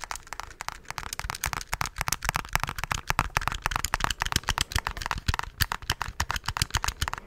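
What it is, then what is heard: Plastic calculator keys tapped. Fingertips tap the keys of a handheld black plastic scientific calculator in a quick, uneven stream of short, bright clicks, each with a soft low thump beneath it. Every click stops almost instantly, leaving dry, crisp plastic clatter with no ring.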